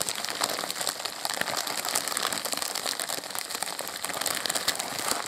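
A white polyethylene postal mailer bag, hollow and holding a padded package, is held and squeezed by both hands with the fingertips, crinkling and rubbing the thin plastic film. The result is a steady, dense stream of bright, crackly rustling with almost no low end and rapid overlapping snaps throughout.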